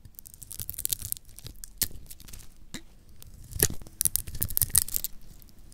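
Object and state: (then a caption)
Dry soap bar being scraped. A metal blade cuts into a solid orange oval bar of dry, lacquered soap held in the hand, scraping off flakes. Crisp, bright, crackling scrapes come in quick bursts of varying strength, with a faint low rumble underneath, and the loudest cuts fall near the end.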